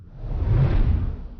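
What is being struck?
Nothing is struck.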